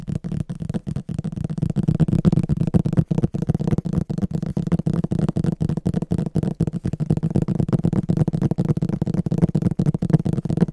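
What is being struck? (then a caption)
Hardcover book with glossy printed cover. Fingertips and short nails tap and scratch the printed glossy front cover of a medium, solid illustrated hardcover book held upright. The result is a fast, continuous patter of dull, low-pitched knocks with short scratchy strokes and no ringing.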